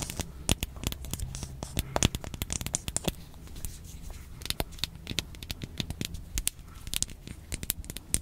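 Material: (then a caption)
Plastic. Long nails scratch and tap the surface of a small, hollow, handheld pink hard plastic toy box with a ridged back and a face on the front. Dense, sharp clicks and dry scratching rattle over a low, steady hum, each tap dying away almost instantly.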